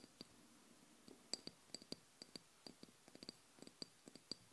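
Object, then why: Small glass oil bottle filled with liquid. Long blue nails tap seventeen times on the body of a small amber glass oil bottle with a black cap, filled with liquid. Each tap gives a quick, bright, high glassy click with a faint ringing tone that dies almost at once, spaced irregularly over a quiet background.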